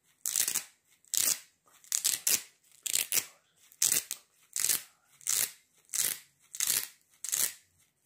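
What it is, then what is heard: Sandal velcro strap being pulled and pressed. A sandal with a fabric velcro strap and foam sole is held up while fingers repeatedly pull and press the strap. This gives a series of crunchy ripping and rubbing bursts that are bright and hissy and carry almost no low end. The bursts come in an uneven rhythm, each swelling briefly and then fading.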